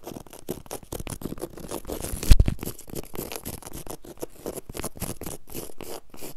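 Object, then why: Low-pile woven fabric carpet. Long acrylic nails and fingertips quickly scratch and rake across a flat, solid, low-pile woven fabric carpet on the floor, dragging through the weave. It makes a rapid run of short, dry, scratchy strokes with a brief louder scuff partway through. The texture stays busy and rough throughout.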